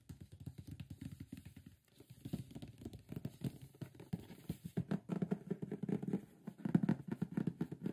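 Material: Cardboard.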